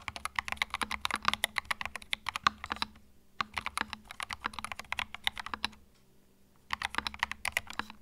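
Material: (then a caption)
Plastic. Fingertips type continuously on a compact white mechanical keyboard with plastic keycaps, producing rapid, bright, dry clicks with almost no ring. The typing comes in bursts, with brief pauses near 3 seconds and again around 6 seconds.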